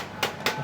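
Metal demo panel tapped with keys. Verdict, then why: Real. Car keys are tapped twice against a bare metal demo car body panel, before any coating is applied, to show that it is real metal. The two short, bright clicks come about a quarter second apart, each dying away almost at once.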